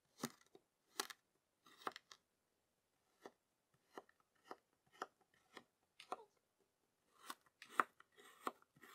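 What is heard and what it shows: A yellow serrated plastic knife presses into and draws lines across three solid, flattened discs of kinetic sand in green, purple and pink, scraping in repeated strokes. Each stroke makes a short, dry, crunchy scrape with a bright gritty edge and no low rumble, separated by brief silences.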